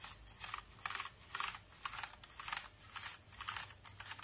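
A small brush and fingers move across a backlit mechanical keyboard with plastic keycaps while cleaning it, brushing the keys and pressing them. Soft, bright bristly swishes come in regular bursts, mixed with short plastic clicks that stop quickly, over a faint low hum.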